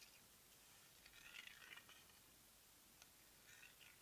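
Long nails tap the lavender plastic lid of a small, round plastic cosmetic jar that is likely filled with product. The result is a quiet, uneven series of light, bright clicks over a faint, steady hiss.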